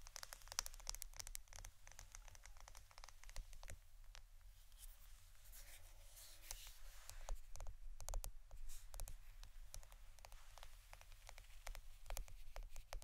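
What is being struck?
Roll of plastic adhesive tape.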